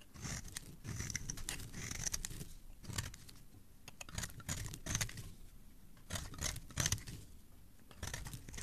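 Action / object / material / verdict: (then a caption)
scrape / bar of soap scraped with a metal blade / soap / none. A solid red bar of soap is held in the hand and carved and scraped with a metal blade, with the shavings falling onto a pile below. Bursts of dry, crisp scraping and crunching come in clusters with short pauses between them, bright hiss on top over a soft low rumble.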